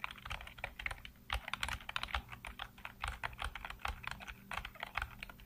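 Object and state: Plastic computer keyboard being typed on.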